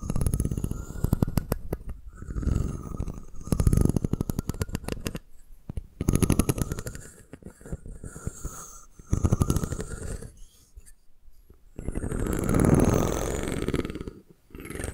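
A solid wooden comb is held over the microphone while long nails tap its spine and strum across its fine teeth. Rapid, dry clicking bursts with a heavy low thump come in loud waves separated by brief quiet gaps, with a bright rasp above them.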